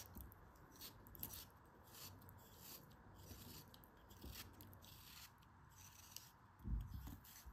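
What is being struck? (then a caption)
Molded kinetic sand shape. A metal craft knife blade slices through a palm-sized, solid, pink molded kinetic sand bear face held in both hands with dark long nails, so it crumbles. Quiet, gritty scraping and soft crunching come in repeated short strokes with a bright hiss on each cut, over a low, muffled rumble. A heavier, louder crumble lands near the end.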